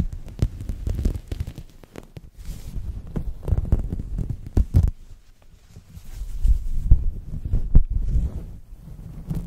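A large, soft, flexible purple synthetic microfiber cloth is draped over a microphone and rubbed and scrunched against it with the fingertips and palms of both hands. This produces deep, muffled, throbbing rumbles and irregular soft thumps, almost entirely low in pitch, with a quieter stretch around the middle before the rubbing swells again.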